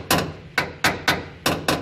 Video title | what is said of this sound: Landau boot floor install | sounds very similar to how a pair of vice grips sound clamping it with all its force then yeah it's holding pretty well